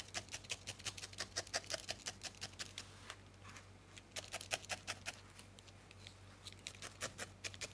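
A thin steel felting needle repeatedly stabs a small, solid ball of grey-white felted wool held between the fingertips, heard up close. Each poke makes a short, dry, bright crunch, coming in a quick, uneven rhythm with a brief slowdown in the middle. A faint low hum sits steadily underneath.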